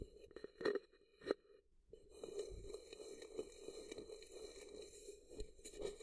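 A hollow, empty-looking frosted translucent plastic cup-shaped container is held sideways by the ear and scratched and tapped with fingertips. Two sharp, hollow taps ring out early, followed by a short pause. Then a steady, bright scratching rubs on with a hollow low-mid tone and occasional light taps until the end.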